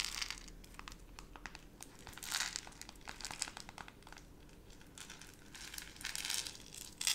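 A small clear plastic jar, partly filled with brown granules, is held in both hands with long nails and squeezed, tilted and shaken so the granules shift inside. The result is soft, bright crinkling and crunching, with quick sharp clicks and brief louder bursts of rattling grains.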